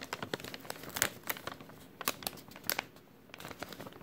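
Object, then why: Thin clear plastic bag. A thin, empty clear plastic bag with a white label is crinkled and folded between fingers. It makes a steady run of sharp, bright crackles and rustles with quick snaps that die away almost at once, and there is little low end.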